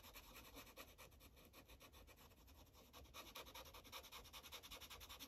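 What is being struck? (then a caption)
Felt-tip marker on a paper sheet over a clipboard. A yellow Sharpie felt tip rubs quickly back and forth on a thin paper coloring page resting on a clipboard, coloring in small shapes. The soft, bright, scratchy strokes repeat in a steady rhythm throughout, growing slightly louder and crisper in the second half.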